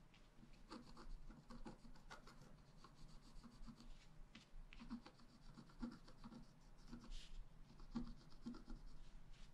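A wooden stylus point is scratched across a flat A4-size scratch-art sheet with a black coating over a rainbow layer, lying on a table while the other hand holds the sheet. Quiet, dry scratching and rubbing strokes follow one another continuously, with brief brighter streaks on each stroke over a soft low rumble.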